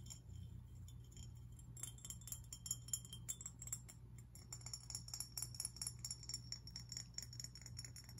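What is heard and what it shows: A medium-sized, hollow, teal glazed ceramic fish-shaped lantern with cut-out holes is held in the hands and tapped and scratched with fingernails on its outer surface and the rims of its holes. The result is a rapid, uneven series of quick, bright clicks and scratchy ticks with a short glassy ring, over a steady low hum.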